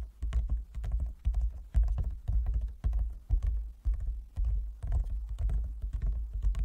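Fingertips and nails of both hands tap on a large, closed, hollow wooden folding chess board. The taps come as a quick, uneven patter of deep, hollow thuds with short, bright nail clicks on top. Each tap dies away almost at once.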